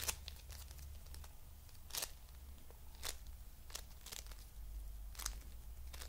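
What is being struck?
Foam bead clay.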